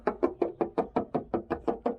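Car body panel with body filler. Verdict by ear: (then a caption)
Filled. Twelve quick, evenly spaced knocks on a spot of a 1985 Camaro IROC-Z body panel that is patched with Bondo body filler. Each knock is short and dry, with a mid-pitched tone around 350 Hz that dies away almost at once. The patch is judged to be all filler that has to come out, to be ground out and replaced with new Bondo.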